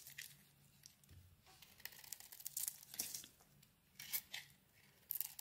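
A utility knife blade carves and scrapes the outer layer off a handheld solid pink bar of soap with a white core. Bright, crisp scraping and tearing strokes come in short bursts, the louder cuts standing out over a quiet, close background. Each stroke ends almost instantly with no ring.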